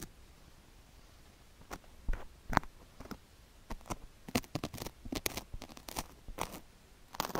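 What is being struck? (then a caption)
Sugar-coated silicone ear microphone scraped with a wooden stick. A thin wooden stick scratches and scrapes a white silicone ear, coated in sugar granules, on a square microphone block, working around the ear and into the canal area. Short, dry, crunchy scrapes come in irregular bursts, bright and gritty, over a quiet low background hum, growing denser toward the end.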